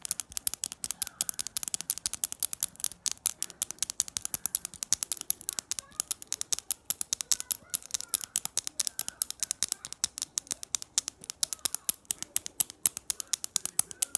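A small, shiny silver-tone metal double-ring belt buckle with solid rings is held in the hand and tapped and scratched with long nails. Over a hundred sharp, bright clicks and ticks come in a rapid, uneven series, each dying out almost instantly. The sound is crisp, high and thin, with no low end.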